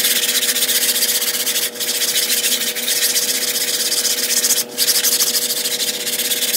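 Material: Synthetic fibre.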